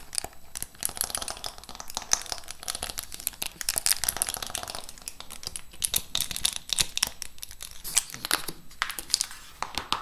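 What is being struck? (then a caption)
Clear plastic lid of a lip gloss box. Long acrylic nails scratch and tap across the clear plastic lid of a large lip gloss set box, held at an angle over many gloss tubes. Dense, bright crinkly scratching is heard, broken by quick sharp taps with almost no ring. It stays busy and fairly even for the whole ten seconds.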